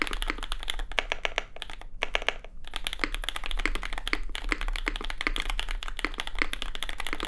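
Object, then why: Mechanical keyboard with plastic keycaps and aluminium plate. A compact red custom Cloudline mechanical keyboard with lubed SP Star Sacramento switches, an aluminium plate, and white and red plastic keycaps sits on a desk mat and is typed on fast with the fingertips of both hands. It produces a dense, steady stream of short, crisp clacks centered around 2 kHz with bright tops, pausing briefly near the two-second mark. A constant low hum runs underneath.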